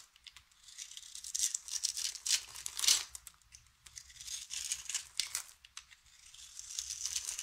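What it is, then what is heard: Dry soap bar being scraped and cut. A utility knife blade scrapes and cuts flakes and cubes off the surface of a round, solid, hand-sized white bar of dry soap held in one hand. The result is bright, crisp, crumbly scraping and crackling in irregular bursts, with almost no low end.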